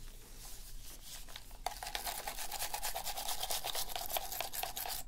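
A toothbrush scrubs around the buttons and surface of a black hollow plastic PS3 controller held in a blue-gloved hand. Soft, quiet brushing gives way after about a second and a half to louder, rapid back-and-forth strokes with a bright bristly hiss and a faint hollow plastic tone around 700 Hz.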